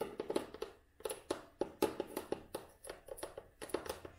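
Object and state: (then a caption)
Cloth-bound hardcover book. Long nails tap the tan cloth cover of an old, solid hardcover book with a red spine. Around twenty quick, uneven taps come in loose bursts, each a soft, dry click with a mid-pitched body near 390 Hz and a faint bright edge. Every tap dies away almost at once and the overall level stays quiet.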